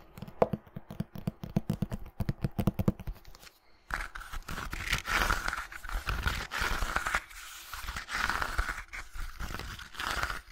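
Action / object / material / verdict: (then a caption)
scrape / hardcover book with embossed cover / board / none. A closed red hardcover book with a gilt-embossed cover has its cover and spine scratched and rubbed with long nails and fingertips. For the first few seconds there is a fast run of crisp, dry scratching ticks, then a brief pause. After that comes a steadier, louder rubbing hiss that swells and fades in waves.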